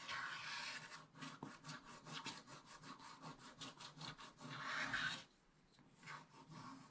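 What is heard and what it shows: A wooden stylus scrapes the black coating near the top of a scratch-art paper page in a spiral book. Quick, rhythmic scratching strokes make a bright, papery hiss that builds to a denser rasp. It then drops to a few softer strokes.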